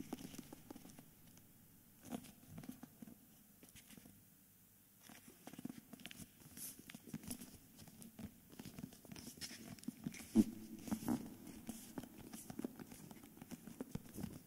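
Fingertips and short nails of both hands tap and scratch the flat cover of a medium hardcover book without its jacket, whose plain cream paper-covered cardboard cover sits on the solid book. The result is quiet, dry, soft patter and scratching with a low-mid body, and a brief near-silent pause partway through.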